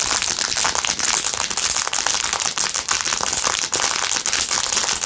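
A blue rhinestone-covered plastic phone case, held in both hands, is scratched and tapped quickly with long nails. The result is a dense, continuous stream of bright, crackly clicks and scratches with almost no low end.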